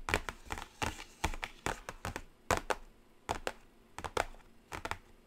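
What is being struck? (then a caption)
Flat cardboard palette box. Long acrylic nails drum quickly on the lid of a flat, closed black cardboard Carnival eyeshadow palette. The result is short, dry, clicky taps in quick bursts of two or three, with a bright edge and almost no ring between them.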